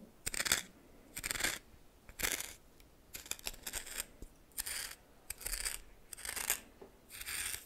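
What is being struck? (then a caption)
Coarse salt in a small bowl stirred with a plastic spoon. A red plastic spoon stirs and scrapes through coarse salt in a small bowl. Repeated bursts of bright, gritty crunching and scraping come in short strokes, with brief quiet gaps between them.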